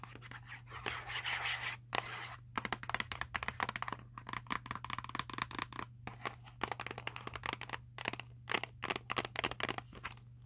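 Long acrylic nails tap and scratch across the printed surface of a small Sour Patch Kids cardboard box that appears full of candy. Dense runs of quick, dry, bright clicks and scrapes cut in and out, with brief pauses between bursts over a steady low hum.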